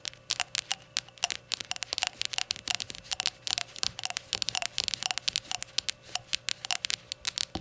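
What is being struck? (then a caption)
Glazed ceramic shot glass. Long nails tap and scratch along the glossy body of a small, hollow, empty rainbow-glazed ceramic shot glass lying on its side on a towel. About forty quick, bright clicks come in rapid, uneven bursts, each with a faint high ring near 2.8 kHz that dies almost instantly. Soft scratchy crackle fills the gaps, with almost no low end.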